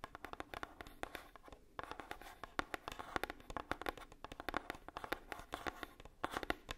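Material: Cardboard.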